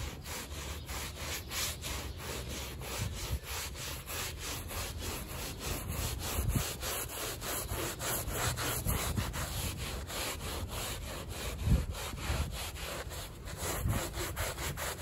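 A gloved hand scrubs the pile of a small, flat, fringed woven rug, soaked and foamy on a plastic sheet, back and forth with a handheld stiff-bristle brush. Steady, rhythmic, scratchy rubbing strokes are heard, with a wet, bristly hiss over a low, dull rumble. A few strokes land slightly harder than the rest.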